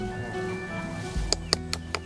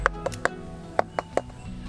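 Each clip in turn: First: unripe durian. Second: ripe durian.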